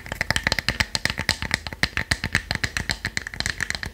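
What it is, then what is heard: Wooden box tapped with fingernails. Long nails tap rapidly on the lid and sides of a small, light, hollow plywood box shaped like a treasure chest, closed with a brass clasp and held in the hand. About thirty quick, dry clicks sound with almost no ring, each carrying a hollow woody knock and a bright tick around 1.8 kHz.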